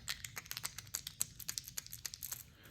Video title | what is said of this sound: Yo-Yoing a Lipless Crankbait | it's just two of them tapping together it's a little bit more of a thud sound